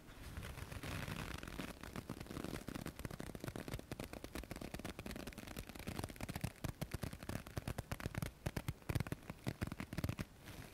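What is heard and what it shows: A folded white paper tissue is held close and rubbed and crinkled with fingertips. The result is a dense, continuous stream of soft crackles and rustles with a low-heavy body, growing into sharper, more separated crinkles toward the end.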